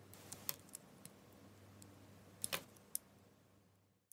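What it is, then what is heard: Bar of soap being carved. A utility knife blade shaves and carves thin slices off a solid, hand-sized bar of white soap with an orange and purple striped coating, held in the palm. Quiet, bright, crisp scraping and cutting ticks come at irregular intervals over a low background hum, with the strongest strokes near the middle.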